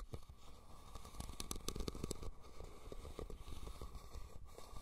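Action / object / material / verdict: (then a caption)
scrape / woven rattan basket / rattan / none. Fingernails scratch and tap the woven sides of a red, hollow, cylindrical rattan basket turned upside down over the recorder. The result is a dense, low-heavy crackling scrape broken by quick, dry taps that flash bright and die almost instantly.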